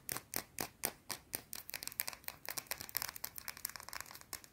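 Long blue nails scratch aggressively at a small round solid white soap bar. The result is a rapid run of short, dry, bright scraping strokes with almost no low end. Early strokes are spaced and strong, then they come faster and softer.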